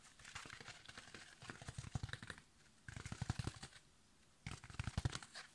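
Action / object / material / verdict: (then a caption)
scrape / foam kitchen sponge with scrub layer / foam / none. A yellow foam kitchen sponge with a green scrub layer is scratched and squeezed with fingertips and nails. There are three bursts of quick, crinkly scratching and soft crunching, separated by brief quiet gaps.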